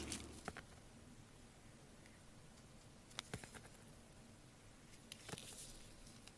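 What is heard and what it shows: A metal blade carves a solid blue bar of soap held in gloved hands. Quiet, crackly scraping runs throughout, broken by a few short, sharp bright ticks as the blade bites into the bar.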